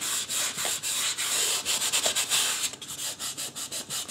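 Fingertips and a fingernail rub and scratch the scalp area of a life-size white polystyrene foam mannequin head. The result is a steady run of bright, hissy scratching strokes with short gaps between them, and the later strokes sound slightly quieter and more clipped.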